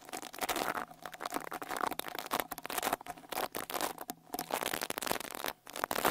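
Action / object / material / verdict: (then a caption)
scrape / metal mesh microphone grille / metal mesh / none. A small white-bristle rat-tail brush with a wooden handle is brushed over the metal mesh grille of the right X-Y microphone capsule on a Tascam Portacapture X8 handheld recorder. The result is close, dense scratching and crackling strokes that rise and fall in quick bursts, with a faint steady mid tone underneath and very little low end.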